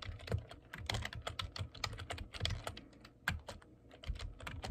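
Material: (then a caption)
Plastic. Fingertips type steadily on a black plastic computer keyboard, producing a quick run of short, dry taps. Each keystroke has a soft low thump under a bright plastic click, and it dies away almost at once.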